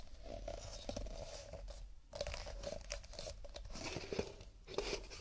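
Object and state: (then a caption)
Cardboard paper cups. Fingertips tap cardboard paper cups in quick, dense, crisp bursts, with papery crinkly edges. The taps ring briefly around a hollow mid tone, and the pace pauses once around the two-second mark before resuming.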